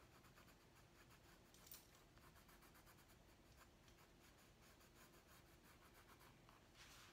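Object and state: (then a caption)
Colored pencil scratching on a paper pad. A hand shades with a purple wooden colored pencil on a large, flat white paper drawing pad resting on a wooden desk, making rapid scratching strokes. The result is a quiet, steady, rhythmic scratch with a bright, airy rasp over a soft low rumble, with slightly louder strokes near the two-second mark and the end.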